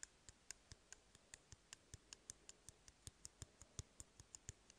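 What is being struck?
Empty cardboard tube.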